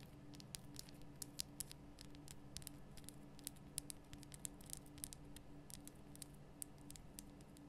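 Long painted nails tap rapidly on the sides of a large, lit, pink Himalayan rock-salt lamp, a solid rough crystal block. The result is a quiet patter of short, dry, bright clicks with no ring, over a low steady hum.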